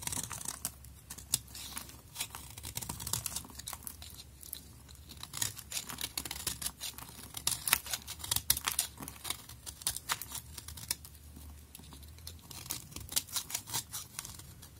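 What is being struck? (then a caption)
Bar soap scraped with a knife blade. A solid pink bar of soap is held in the hand while a utility knife blade scrapes off curly shavings. Dense, rapid, crisp scraping and shaving sounds with bright, sharp transients repeat steadily throughout, over a faint low hum.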